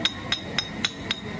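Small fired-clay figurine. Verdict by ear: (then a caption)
Well-fired. A small terracotta warrior replica, fired at very high temperature, is knocked five times and gives short, bright, metal-like clinks with a high ring near 3.7 kHz. The metallic ring marks it as properly fired, and the knocking does it no harm.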